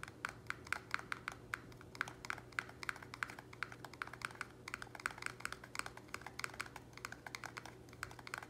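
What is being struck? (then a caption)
Small square plastic nursery pot. Fingernails and fingertips tap quickly on the sides of a small, empty, hollow square black plastic nursery pot held up in both hands. The result is a dense, steady stream of light, dry clicks with a bright edge and a hollow midrange knock near 1.5 kHz, each tap dying away instantly. A faint, constant low hum sits underneath throughout.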